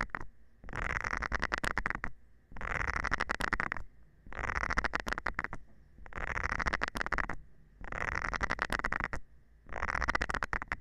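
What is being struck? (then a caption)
Silicone scrubber pad with nubs, scratched with a thin metal rod. A thin metal rod scratches across the nubs of a round green silicone scrubber pad held by hand. Six bursts of dense, rapid scratchy ticking, each lasting about a second and a half, are separated by short pauses. The sound is bright and crackly over a low, muffled rumble.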